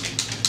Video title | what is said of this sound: Laura Mercier Smooth Finish Flawless Fluid Foundation | shake it and you're going to hear there's something in it